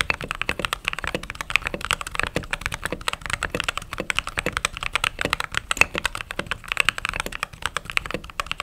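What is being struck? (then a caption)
Plastic-keycap mechanical keyboard. Fingertips with long nails type steadily on a white and cream mechanical keyboard with plastic keycaps. The result is a fast, continuous stream of crisp, bright clacks. Each keystroke is short and dry with very little low end.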